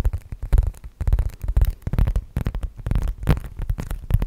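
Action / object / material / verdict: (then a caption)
tap / faux leather zip wallet / faux leather / none. A medium-sized black zip-around faux leather wallet, hollow and soft, is held in both hands and tapped and scratched with long nails. Quick, dense taps and scratches produce a low, muffled thumping that stays mostly below 200 Hz, with brief bright scratchy flecks above.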